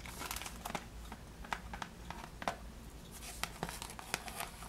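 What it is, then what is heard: Cellophane-wrapped cardboard box being scratched. Long decorated nails scratch and crinkle the cellophane wrap on a flat, rectangular pink cardboard praline box with a ribbon, held in the hand. Quick, bright crackles and short scratchy ticks pop up irregularly over a soft, steady low rumble.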